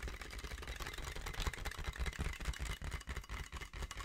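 A medium-sized sheet of clear, inflated plastic-film air-column packaging with hollow air-filled tubes is held in both hands and tapped, squeezed and scratched with the fingertips close to the mic. It makes a dense, irregular stream of soft, low, hollow thumps over bright, crinkly plastic scratching.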